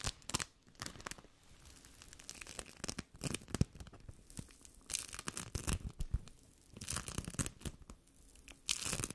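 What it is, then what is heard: Bead foam (sticky play foam). A handful of soft, sticky yellow bead foam is squeezed, pulled apart and rubbed with fingertips and nails. It makes dense, dry crackling and tearing sounds in quick irregular bursts, with brighter, louder crackles near the start and end.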